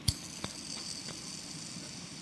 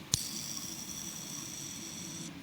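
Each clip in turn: First: Two sharp flick clicks and a couple of faint ticks, with no lasting whir: a freshly cleaned, still-wet bearing. Second: A flick sets off a steady high whir from the bearing that rolls on for about two seconds.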